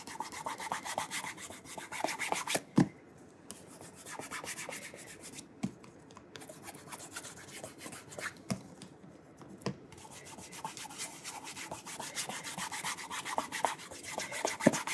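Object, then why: Leather dress shoe. A burgundy calf leather oxford, held by its wooden shoe tree, is rubbed briskly as fingertips and a palm work polish over the smooth leather upper. The result is dense, rapid, soft friction strokes with a faintly bright hiss, broken by brief pauses and a few sharp ticks.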